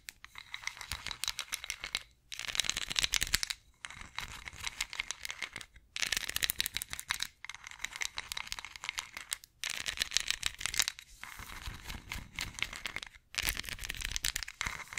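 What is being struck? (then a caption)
Ridged wooden massage roller. Long nails scratch and tap along the grooves of a ridged wooden massage roller held diagonally. The result is bursts of dense, rapid, bright clicking and rattling scrapes with very little low end, separated by brief silent pauses.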